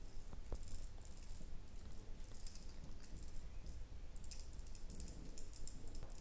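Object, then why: Ribbed glass jar with lid. A small red ribbed candle-style glass jar with a lid is held in both hands while long nails tap and scratch its ribbed sides. Faint, quick bright clicks and soft scratching scatter over a steady low rumble, each tap dying away almost instantly.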